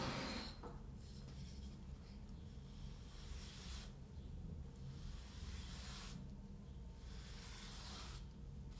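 A flat, solid rolled-out sheet of kinetic sand on a wooden table is stroked and brushed with a flat paint brush with grey bristles. Soft, bright rasping swishes of bristles across the sand come and go in longer strokes over a steady low background hum.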